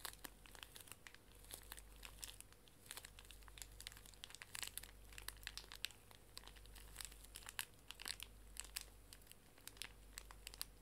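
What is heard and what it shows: A small, full pink pocket tissue pack wrapped in plastic film is held sideways and squeezed with fingers and long nails, crinkling the plastic. Dense, bright crackles and sharp ticks come in irregular bursts throughout, over a faint, steady low hum.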